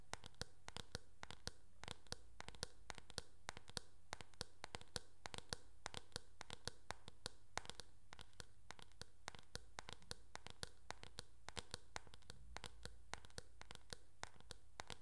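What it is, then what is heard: Plastic hairbrush back. Long nails tap rapidly across the back of a teal, hard plastic, oval hairbrush with a hollow shell. The result is a steady, quiet stream of sharp, bright clicks over a low background hum.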